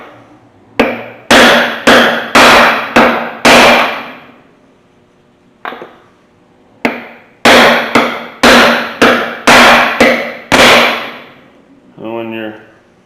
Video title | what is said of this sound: Prepping a junkyard 5.3 LS based engine for a swap | that thud, that dead sound. You got it all the way in.